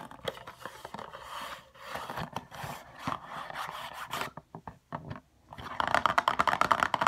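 Long fingernails tap and scratch on a hollow RoC night cream box, a paperboard box with a window, lying on its side. Soft, dry, papery scrapes and light taps run through the first half, then a brief quieter stretch of scattered taps. It ends in a louder, faster run of crisp, bright clicking taps.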